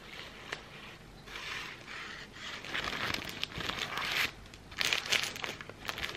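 A thin, translucent plastic sleeve from an incense pack is crumpled, pulled and crinkled with the fingertips. It makes irregular bursts of bright, dry crackling with a few sharp snaps, rising and easing over the clip. The sounds have no ring and almost no low end.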